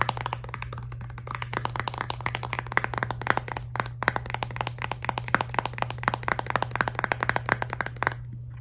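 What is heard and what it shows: Long nails tap rapidly on the back of a filled, laminated plastic toothpaste tube, making a dense stream of dry, short clicks with almost no ring and a bright, hollow tick. A steady low hum runs underneath until the tapping stops just before the end.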